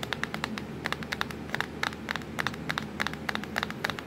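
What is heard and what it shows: Long acrylic nails tap quickly and unevenly across a black plastic laptop keyboard near the Ctrl, Fn and Windows keys. About 28 short, bright clicks sound, each dying away almost instantly, over a low steady hum.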